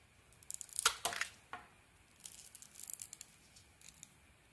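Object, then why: Bar of soap shaved with a knife blade. A utility knife blade shaves a palm-sized, solid cream-white soap bar with a shiny teal outer layer, held in one hand, as flakes fall onto the table. Bright, dry scraping and crackling strokes come in uneven bursts, loudest in the first second and a half, then continue as softer, crumbly rasps with almost no low end.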